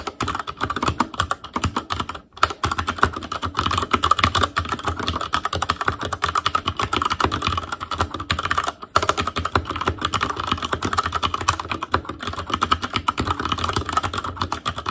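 Fingertips type steadily on an Asus Claymore Core mechanical keyboard with plastic keycaps and Cherry MX Red switches. A fast, continuous stream of short, crisp clacks centers around 1.2 kHz with a dull low thump beneath. The typing pauses briefly around 2.3 and 8.8 seconds.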